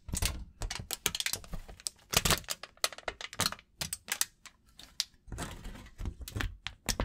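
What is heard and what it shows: A crumpled sheet of aluminum foil is held in both hands and crinkled with the fingers close to the microphone. It gives dense bursts of sharp, bright crackles and snaps, with a brief steadier rustle near the end.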